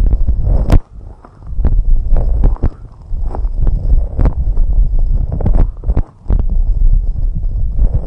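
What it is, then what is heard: Silicone microphone ear covers. Long red nails steadily scratch and tap both white silicone rubber microphone ear covers. The result is a close, muffled rumble of deep, soft thuds and rubbing, with sharp tapping clicks scattered throughout. Two brief near-silent pauses break the sound, one around the first second and one around the sixth.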